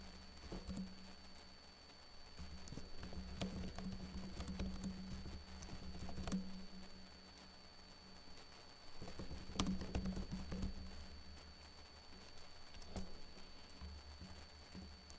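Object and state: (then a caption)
Plastic laptop keyboard. Fingertips with short blue-painted nails type on a backlit laptop keyboard with plastic keys, making soft, irregular clicking taps that come in bursts with brief pauses. A steady low hum sits underneath, with faint thin high tones throughout.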